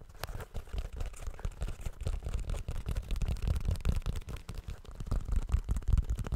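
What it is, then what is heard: Rubber shoe toe cap. Fingertips tap the rounded rubber toe cap of a blue rubber shoe held over the microphone. The result is a quick, irregular patter of dull, deep thumps that are almost entirely low in pitch, each dying away almost instantly, with no bright ring.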